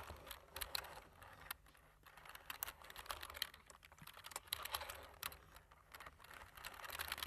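Fingertips of both hands tap the black plastic keys of a computer keyboard in steady typing. The result is a quiet, continuous stream of short, bright clicks with almost no ring, clustered in uneven bursts over a faint low hum.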